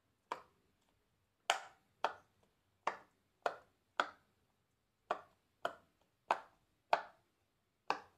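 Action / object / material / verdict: tap / silicone pop-it toy / silicone / none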